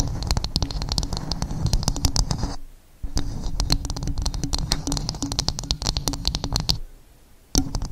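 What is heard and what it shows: Fingernails rapidly tap and scratch across the fibrous surface of a dome-shaped coconut shell. The result is a dense run of bright, crisp clicks over a low, hollow rumble. The tapping stops briefly near the three-second mark and again near the end before resuming with a sharp tap.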